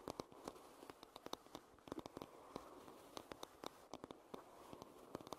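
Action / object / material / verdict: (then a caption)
tap / wooden hairbrush back / wood / none. Long nails tap and scratch across the solid wooden back of a hairbrush. Quick, dry clicks with almost no ring sound over a soft, steady scratchy rustle. The taps fall in irregular bursts throughout.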